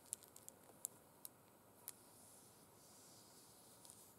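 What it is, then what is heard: Faux suede fabric gloves. Long red acrylic nails tap and scratch over a pair of burgundy faux suede gloves with sequin stripes, lying flat and empty on a glitter cloth. About ten sharp, bright clicks sound at irregular intervals, mostly in the first two seconds, above a soft, steady hiss of scratching on the fabric.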